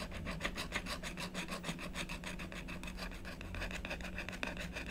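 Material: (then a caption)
Coated paper. A blue stylus scratches rapidly back and forth across a black-coated scratch-art paper sheet to fill in an area. The result is a continuous run of quick, rasping strokes with a bright, papery scratch over a low, steady hum.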